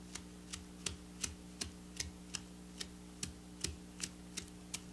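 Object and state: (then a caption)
Plastic sequin fabric. Long black natural nails scratch and trace across a flat piece of silver sequin fabric, with plastic sequins sewn in rows, lying on a table. About 13 short, bright clicking ticks come at an uneven pace over a steady low hum. Each tick dies away almost instantly.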